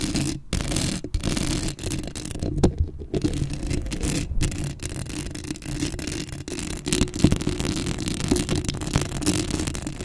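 Long acrylic nails scratch the hollow metal mesh grille of a black Blue Yeti microphone, making a dense, continuous rasping and scraping with a heavy low rumble and a steady hum-like tone. Brief silent gaps interrupt the scratching, and sharper bright clicks stand out from the texture.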